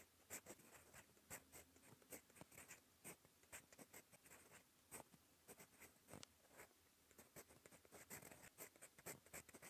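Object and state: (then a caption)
Fountain pen nib writing on lined paper. A gold metal fountain pen nib writes on a cream lined notebook page, giving a quiet, steady scratching made of many short, bright strokes. The strokes come in quick runs with brief pauses between words.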